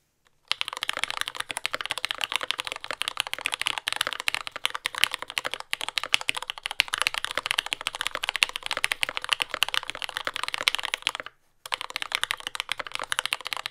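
A compact J-01 mechanical keyboard with lubed Yellow Gateron Ink switches, dark brown plastic keycaps and a carbon fiber plate, resting on a desk mat, is typed on continuously with the fingertips of both hands. The result is a fast, dense stream of short, bright, clacky keystrokes with almost no low end, broken by one brief pause near the end before typing resumes.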